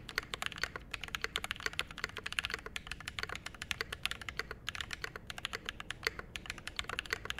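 A Mode SixtyFive 65% mechanical keyboard, with a metal case, brass plate, lubed Glorious Panda switches and double-shot ABS keycaps, sits on a desk mat and is typed on continuously with the fingertips of both hands. About fifty short, crisp clacks run in a rapid, uneven stream, each bright and centered around 2 kHz with almost no ring. A faint low rumble lies underneath.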